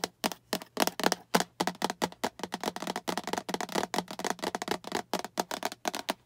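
Long acrylic nails tap and scratch a small, hollow, translucent green plastic storage box that is tilted to show its sides and bottom. The result is a quick, uneven run of sharp, bright, clicky taps with very short ring, mixed with brief scratchy rasps and a faint steady low hum underneath.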